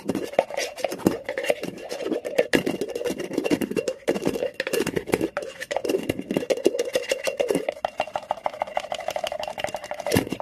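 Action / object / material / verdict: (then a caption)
scrape / cotton terry towel / cotton / none. Fingers and nails scratch and rub fast across a flat, textured cotton terry cloth towel, raking the looped fabric surface into ridges. The result is a dense, continuous run of quick, crackly scratching strokes, with a steady mid-range rasp and bright, fizzy edges.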